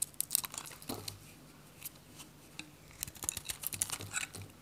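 A metal utility knife cuts and scrapes brittle flakes off a hand-held, solid, dry white bar soap with a purple rim. Quiet, bright, dry crackling scrapes and snaps come in irregular bursts with very short decay, and a few brief low thuds sit underneath.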